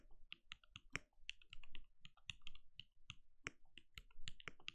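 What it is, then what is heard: Mechanical keyboard with plastic keycaps. A compact RGB-lit mechanical keyboard with a translucent plastic case and plastic keycaps sits on a desk and is typed on steadily with the bare fingertips of both hands. The result is a quick, even run of short, dry clicks, each with a bright tick around 2.3 kHz over a soft low thud and almost no ring.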